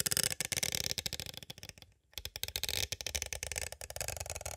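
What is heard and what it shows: A small, hollow, clear plastic cassette tape case is tapped on its sides with two green plastic stick tools. The result is rapid, bright, clicky tapping with a very short ring and a brief pause near the middle before it resumes.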